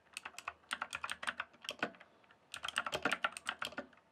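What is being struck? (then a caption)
Plastic computer keyboard. Fingertips type and tap on the keys of a full-size, backlit plastic RGB computer keyboard. About 23 quick, crisp, bright clicks come in two bursts with a short pause between them. Each click is short and dry, with almost no low end.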